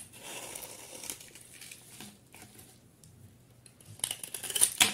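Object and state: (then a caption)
Bar of soap. A hand-sized solid cream bar of soap, held in a hand with long painted nails, is shaved and scraped with a utility knife blade, producing flakes. Soft, dry, bright scraping hisses run quietly throughout, and a few louder, crisp shaving strokes come near the end.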